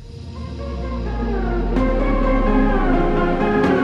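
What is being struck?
Nothing is struck.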